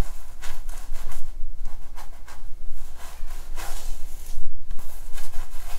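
Long nails and fingertips scratch and rub through the long, straight, black synthetic hair of a wig on a mannequin head, working at the scalp and part in a massage motion. Soft, airy scratching and rustling swells and fades in uneven bursts over a steady low hum.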